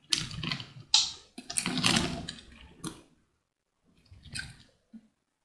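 A small metal blade scores and cuts a solid, hand-sized purple soap bar held in one hand into a grid of cubes, with crumbs flaking off. Bright, crisp scraping and crunching strokes come in several bursts, then a pause, a softer final scrape and a faint tick.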